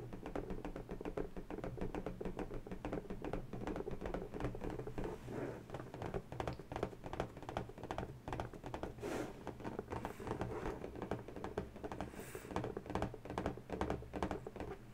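An inflated, hollow, air-filled pink latex balloon is held in one hand and tapped quickly with the long natural nails of the other hand. The result is a fast, steady patter of soft, dull, hollow taps with a low body, each dying away almost instantly, continuing without pause for about fifteen seconds.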